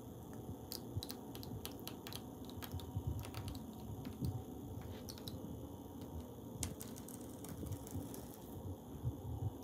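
Fingers tap and scratch tiles on a wall, tracing along the lines between them. Quiet, scattered clicking taps with bright edges sit over a steady, low scraping rustle. The taps are short and dry, with brief swells where the scratching grows louder.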